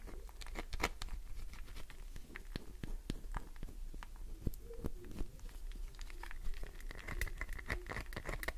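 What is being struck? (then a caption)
Glycerin soap bar. A solid green glycerin soap bar is scratched by fingernails, with nails digging into its top edge. Quick, sharp scratching clicks and taps come one after another in an uneven patter over a low, steady rumble, with a faint high ringing tone toward the end.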